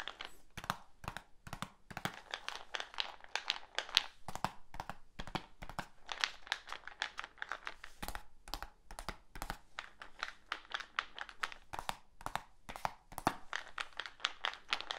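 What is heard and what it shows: A medium black plastic supplement tub with a lid and label is held in one hand and tapped with the fingertips of the other. A rapid, uneven series of short, dry, bright taps is heard, each dying away almost instantly, with a faint crinkly rustle between them.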